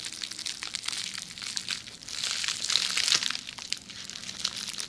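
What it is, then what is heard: Plastic bubble wrap. Long red nails scratch and tap a hollow roll of red plastic bubble wrap held in the hand. A dense, bright crinkling and crackling runs throughout with no low end, swelling louder in the middle before easing off.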